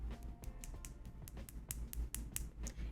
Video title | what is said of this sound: Dip Gel Manicure Application - Introducing NDS Gels | i can't start filing my nails until my nails sound like this